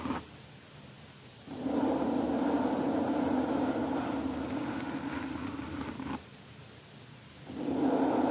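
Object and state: Nothing is struck.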